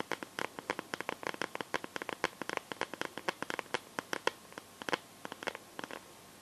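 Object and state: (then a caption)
Plastic phone case tapped with fingernails. Long painted nails tap rapidly on the back of a smartphone in a clear plastic case filled with liquid glitter. About forty quiet, sharp clicks in uneven bursts, dry and bright with almost no low end or ring.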